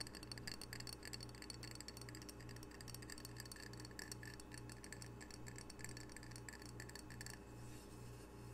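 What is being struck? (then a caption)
Glazed ceramic tile coaster. A small, solid, square glazed ceramic coaster with an octopus print, held in both hands, is tapped rapidly with long fingernails. The taps make quiet, bright, glassy clicks with very short ring, over a steady low pulsing hum. The tapping stops near the end, leaving only the hum.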